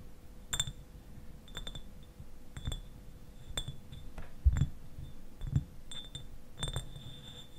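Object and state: Glass bottle tapped with fingernails.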